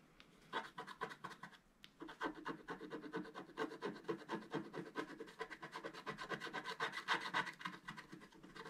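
A wooden stylus held in the fingertips scratches the black coating off the top of a thin, flat scratch-art paper card lying on a table while the other hand holds the card steady. A quick series of short, dry scratching strokes starts after half a second and runs almost continuously to the end. The strokes briefly pause near the two-second mark, and their midrange rasp has a faint bright edge.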